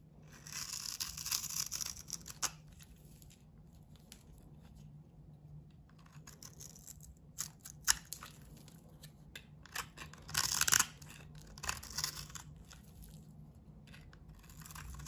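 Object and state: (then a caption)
Bar of soap being shaved. A metal blade shaves the surface of a solid bar of soap with a blue painted coating, held in the palm, removing crumbly soap. Dry, bright scraping and crinkling strokes come in uneven bursts with short quiet gaps, over a faint low hum.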